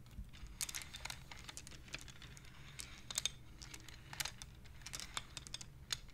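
Fingers slide and clack the painted wooden beads of a wooden abacus. It makes a quick, irregular run of short, dry, bright clicks that stop at once, over a faint low rumble.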